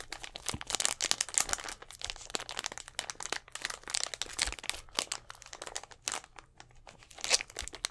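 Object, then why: Thin plastic drink bottle. Fingernails scratch and tap on a hollow, clear plastic Gatorade bottle with an orange cap and a little blue liquid inside, held close to the mic. A dense run of quick, bright crinkles and crisp clicks fills the clip. Each click is dry and dies away almost instantly, with hardly any low end.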